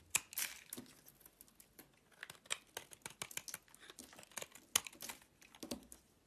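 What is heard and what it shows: A box-cutter blade carves strips off the corner of a solid green bar of soap held in the hand. Quiet, crisp scraping and crackling cuts come in a rapid, irregular series, each brief and bright with almost no low end. The sound stops dead between cuts.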